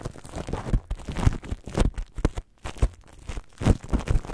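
Long nails tap and scratch clear plastic cling film wrapped over a microphone. The result is a dense run of close, crinkly rustling and soft thumps with a heavy low end, broken by a brief silence about halfway through.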